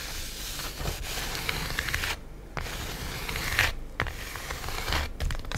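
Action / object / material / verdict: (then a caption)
scrape / plastic-wrapped styrofoam food tray / styrofoam / none. Long acrylic nails tap and scratch the top of a flat, hollow black styrofoam tray lid, a cheese container holding cheese slices and wrapped in plastic film. The result is a steady bright, crinkly scratching with soft tapping over a low rumble, broken by two brief near-silent pauses.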